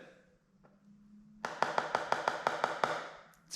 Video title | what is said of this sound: How to Map Delaminations - Hobie 16 | we can tap on one side of it it's pretty high pitch